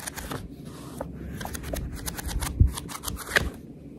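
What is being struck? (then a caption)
Paperback book, paper pages. Long red nails rest on and scratch the fanned page edges of a paperback book while the pages are riffled. The result is a steady, soft papery flutter of quick crisp ticks over a low rumble, with a couple of louder snaps near the end.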